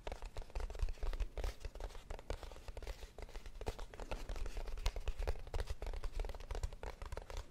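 A small, hollow kraft cardboard box is held in both hands and tapped and scratched with long nails. The result is a steady stream of quick, dull, hollow taps with a strong low thump and short, dry, papery scratches in between, each sound dying away almost instantly.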